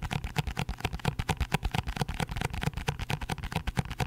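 A cardboard box is tapped quickly and hard, giving a dense run of short, dull, low thumps with almost no ring. The taps come at an uneven pace, with most of the energy below 200 Hz.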